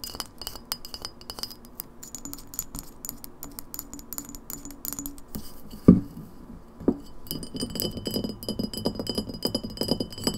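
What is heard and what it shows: An empty glass lemonade bottle with a paper label is held sideways and then stood upright while long nails tap fast on its glass neck and shoulders. The result is a steady stream of quick, bright clinks with short ring, broken near the middle by two louder knocks before the tapping resumes with a fuller, lower body.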